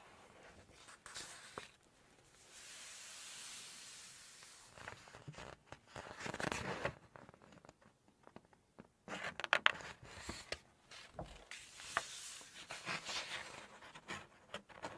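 Long nails hold, lift and turn a thick glossy page of an open Chinese cookbook. Soft swishing rustles give way to crisp, bright crackles and sharp little ticks as the page bends and flips over. Brief quiet gaps fall between the movements.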